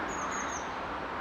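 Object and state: Nothing is struck.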